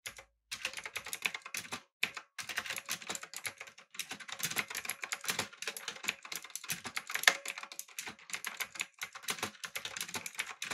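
Fingertips type steadily on a backlit, typewriter-style mechanical keyboard with round plastic keycaps. The keystrokes are rapid, bright, dry clicks, with almost no low end and a few brief pauses between bursts.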